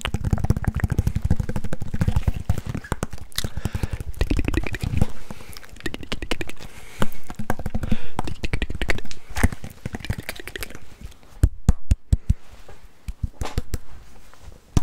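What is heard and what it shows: A red rubber-faced table tennis paddle with a solid flat blade is held close to the microphone and tapped and scratched on its rubber surface with fingertips and nails. Dense, rapid, dull low-end taps and soft scratching run throughout, with sharper isolated taps near the end.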